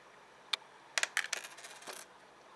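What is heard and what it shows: A copper 1982 Lincoln cent is dropped, giving a quick tick followed by a clattering run of bounces over about a second. Its ring is bright and high-pitched, and each strike dies away quickly. The copper cent's drop is louder and rings higher and more pleasantly than a zinc cent's.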